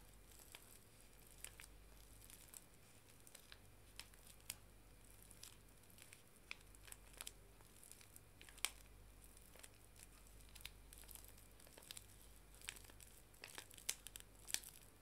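A small paper tea bag sachet, held in the hands, is scratched and crinkled on its back side with long nails. Soft, bright crinkling and scratching runs throughout, broken by many sharp, quick clicks and ticks. A faint low hum sits underneath.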